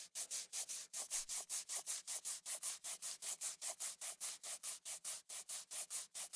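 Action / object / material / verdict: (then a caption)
scrape / glass-backed smartphone with aluminum frame / glass / none. Fingertips rub back and forth across the glass back of a small black iPhone SE (3rd generation) with an aluminum frame, held in one hand. About 32 quick, steady strokes make soft, bright, hissy swishes with almost no low end, each ending abruptly with no ring.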